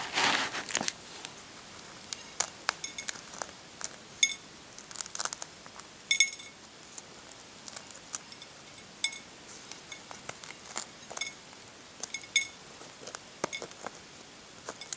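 The thin shell of a brown hard-boiled chicken egg, held in the fingers, is cracked and then picked and peeled away with the fingernails and fingertips. Dense, bright crinkling crackles open the clip, followed by a long scatter of short, sharp clicks and tiny snaps with quiet gaps between them.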